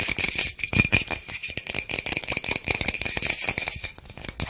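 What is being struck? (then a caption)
Small plastic bottle with loose contents. A small white plastic bottle with loose contents is shaken and turned in the hands close to the microphone. It makes a dense, fast, bright rattle of short clicks, with a steady ringing tone around 2.4 kHz and little low end.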